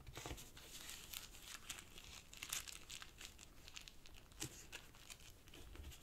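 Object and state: Origami paper sheet being folded and crinkled.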